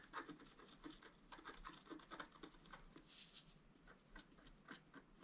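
A wooden stylus scratches the coating of a flat, black-coated scratch art paper board, lifting between strokes. The result is a quiet series of short, dry, raspy scratches with bright edges and little ring.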